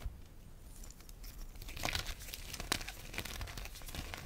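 Chalk-covered fingertips grab, squeeze and crush small solid lumps of lemon-tinted, pale yellow gym chalk from a heap of chunks and powder on a dark tray, and the crumbs fall back onto the pile. Dry, crinkly crunching and crumbling run throughout over a soft low rustle, with sharper, brighter crunches standing out near the middle of the clip.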